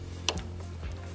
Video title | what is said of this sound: 2 inch Water Pump in Action - Top Video | when you hear a a noise basically that's them clamping in there